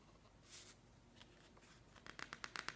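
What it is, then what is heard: Glossy paper magazine. Hands slowly turn and flick the pages of a thick, open glossy paper magazine resting on a wooden table, with fingertips rubbing the paper. Soft, quiet paper rustles and swishes give way to a run of seven crisp, bright page flicks near the end.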